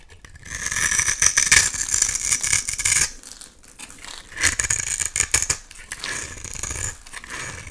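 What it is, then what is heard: Bar soap being shaved with a knife. A utility knife blade cuts and scrapes flaky shavings off a solid oval purple soap bar held in the hand. The result is a dry, bright, crackly scraping with rapid rattly bursts. A long loud stretch of scraping is followed by shorter strokes.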